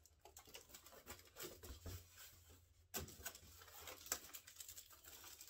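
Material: Metallic foil.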